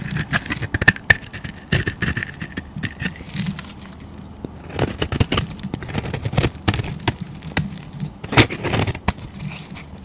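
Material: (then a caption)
Soap. A utility knife blade scrapes curled shavings off a solid oval tan bar of soap held in a hand with teal nails. Quick, crisp scraping strokes come in bursts of bright crackle over a low, soft rumble. A brief quieter pause falls in the middle before the scraping resumes.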